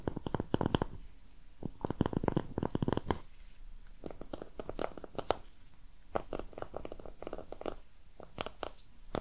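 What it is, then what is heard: Empty cardboard box. A small brown printed cardboard box with a torn, corrugated edge, hollow and apparently empty, is held in both hands close to the microphone while long red nails tap and scratch its surface. Clusters of quick, dry taps and scratches come in bursts separated by brief quieter gaps, with a low, hollow body to each hit and short bright clicks.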